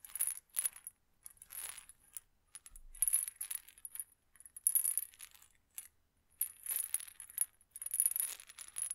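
A small amber glass medicine bottle with a white plastic cap and white label is held in one hand and shaken in bursts, its small hard contents rattling. The sound is quiet, bright and clicky, with short dry rattles separated by brief pauses.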